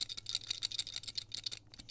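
The plastic buckle on a Tomtoc T35 X-Pac sling bag is shaken close to the microphone, giving a quick run of light, bright plastic clicks and rattles with no ring after each tap. The loose buckle is a minor nitpick, since the rattle goes unnoticed while wearing the bag.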